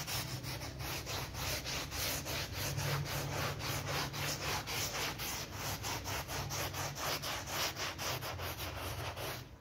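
A green-gloved hand scrubs a dark blue rectangular synthetic pile bath mat, muddy and covered in soap foam on a terrazzo floor, with a small blue bristle brush. Quick back-and-forth strokes, about four per second, make a continuous bright, hissing, rubbing scrub over a steady low hum that continues throughout.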